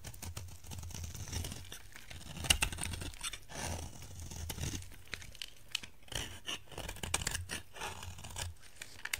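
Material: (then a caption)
Soap. A solid, dried orange bar of soap held in the hand has its surface scraped with a utility knife blade, and crumbly flakes fall away. Dry, crackly scraping strokes come in a quick, uneven series with a bright, crunchy texture over a steady low rumble. A few sharper scrapes stand out, the loudest a little before the three-second mark.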